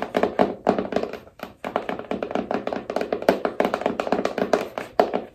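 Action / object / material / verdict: tap / small cardboard phone box / cardboard / none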